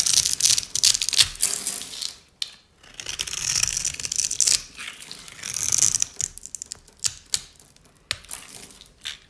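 A metal blade scrapes across the grid-scored surface of a solid rectangular bar of dry cream soap held in the hand, crunching it into small cubes. The result is irregular bursts of dry, bright, crackly crunching with very short decays, separated by brief quiet gaps and carrying almost no low end.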